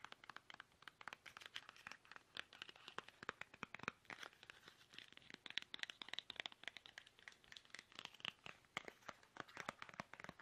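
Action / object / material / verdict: tap / plastic toothpaste tube / plastic / none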